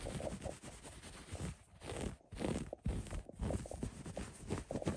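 Fingertips and short nails scratch and rub across the textured weave of a soft, thick, loosely woven white cotton blanket lying bunched on a surface. The result is a steady, muffled, low scratching and rustling with a few brief quieter gaps between strokes.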